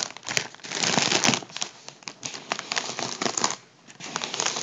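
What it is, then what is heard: Foil balloon crinkling. Fingertips press and crinkle the surface of a large, partly deflated, hollow gold metallised foil (mylar) party balloon. The result is a dense, bright crinkling and crackling with sharp snaps and almost no low end, broken by a brief quiet pause near the end before the crinkling resumes.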